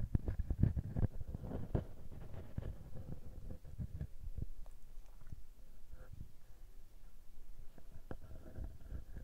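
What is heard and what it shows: Fingertips and nails rub and scratch the small metal mesh microphone capsule on a Tascam handheld recorder. The result is a deep, muffled stream of thuddy scrapes and taps, densest in the first two seconds, with faint brighter scratching on top.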